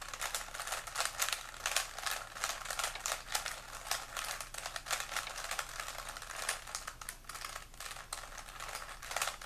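Fingertips of both hands quickly twist the layers of a small, solid plastic 3x3 puzzle cube with colored stickers. The result is a steady stream of rapid, dry clicks and clacks, bright and crisp with very little low end. Each click dies away almost instantly, and the turns keep going without pause for the whole clip.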